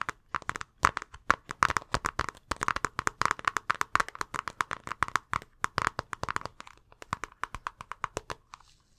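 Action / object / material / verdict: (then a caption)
scrape / thin plastic zip-top bag / plastic / none. An empty, clear plastic zip-top bag with a blue seal is held in both hands while the fingers crinkle and squeeze the thin plastic. The result is a rapid, continuous series of sharp, dry crackles centered around 1 kHz with bright edges, each snapping off almost instantly, thinning out toward the end.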